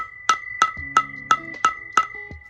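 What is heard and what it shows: Six small, evenly spaced taps with a socket on a valve stem seal over the valve guide of a K24A4 cylinder head. Each tap is a sharp, dry, wood-block-like click with a pitched ring near 1.3 kHz that dies almost at once. The steady, solid sound confirms the seal is fully seated.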